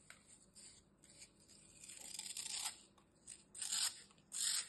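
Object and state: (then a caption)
Floral foam block being cut. A metal utility knife slices a solid, dry green floral foam block into thin strips, cutting and scraping through it. Soft, crisp crunching and tearing bursts come in uneven, quiet waves, almost entirely bright and high with no low end, the last few strokes louder.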